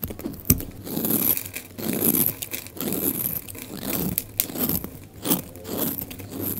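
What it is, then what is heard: Dry soap bar shaved with a blade. A utility knife blade scrapes and shaves curls off a solid, hand-sized bar of dry orange soap held in one hand, and the shavings pile up beside it. Repeated dry, crunchy scraping strokes rise and fall in broad swells. Most of the sound sits in the low-mid body, with faint bright hiss on top and a sharp click near the start.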